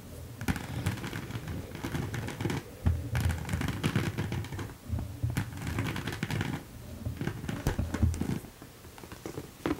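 Long decorated nails tap and scratch the textured front of a small, hollow, mauve croc-embossed leather Teddy Blake top-handle handbag with gold hardware, held up in the air. The taps are dense, dull and low-heavy, with short scratchy rustles between them. Each sound dies away quickly.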